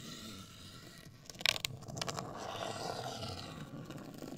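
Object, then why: Rigid cardboard box. Long acrylic nails scratch and tap a hollow, medium-sized, black printed rigid cardboard box. A soft, bright, dry scraping hiss runs throughout, broken around the middle by a quick cluster of sharp, crisp taps with almost no ring. It then settles into a steadier, slightly louder scratching.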